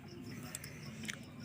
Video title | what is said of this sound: আদা লজেন্স বা candy বানিয়ে পুরানো খুশখুশে কাশি দুর করুন। Ginger candy making for remove cough. | একদম ক্যান্ডি, এই দেখুন ঝনঝন আওয়াজ করছে